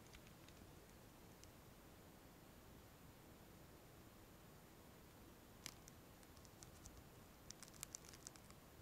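Long metallic-painted fingernails tap and scratch the back of a phone in a clear plastic case filled with liquid glitter. Sparse, sharp, bright clicks stand out over a steady low hiss, with faint soft scratching early on. The clicks grow denser toward the end, as short, dry taps with no ring.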